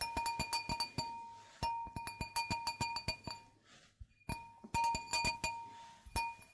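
An empty clear stemmed wine glass with a hollow bowl is held in the hands and tapped with long manicured nails. This produces a quick run of bright, clinking taps, each with a steady ringing tone near 926 Hz and high overtones. There is a short quiet pause midway before the tapping resumes.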